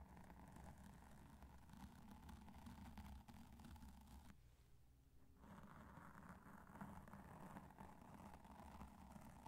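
Two cotton swabs rub across the top of a black foam microphone windscreen, making a steady, muffled, low-heavy brushing and rustling. The rubbing pauses briefly and goes quieter partway through, then resumes at the same soft level until the end.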